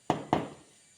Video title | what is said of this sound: June 2, 2024 | Solid na solid ang laman, walang kaampaw-ampaw.